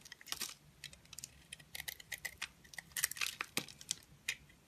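A utility knife shaves curls off a solid oval pink bar soap with glittery heart prints and a lilac interior, held in the hand. Quick, bright scraping and crisp cutting sounds come in short bursts with brief pauses between them, and each one stops dry with no ring.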